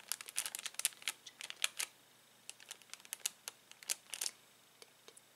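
Fingertips press spiky plastic Bunchems toy balls through a clear cellophane bag, crinkling the plastic. The clip is made of quick, bright, dry crackles in uneven bursts, with brief pauses between clusters and almost no low end.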